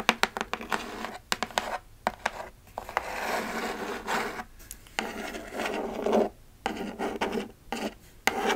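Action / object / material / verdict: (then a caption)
scrape / cardboard shipping box / cardboard / none. Long acrylic nails scratch and rub across the surface of a flat, closed kraft cardboard Sephora mailer box held in one hand. Quick, dry clicking taps come first, then longer papery, rasping scratch strokes separated by brief pauses, with a hollow, boxy tone in the low mids and very little deep bass.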